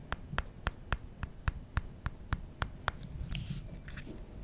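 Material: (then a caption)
Glass and metal. Fingertips work over a small, solid glass-and-metal original iPhone, rubbing the glass screen and scratching and tapping the bottom edge around the dock connector and speaker grille. A steady run of short, dry taps with a bright click and a low thump comes first, then gives way to softer, scratchy rubbing.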